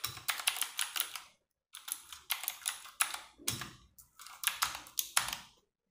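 Fast fingertip and long-nail typing on a compact 60% RGB-backlit mechanical keyboard with plastic keycaps. Bright, clicky clatter comes in quick bursts with short pauses between them. The sound is crisp with very little low end.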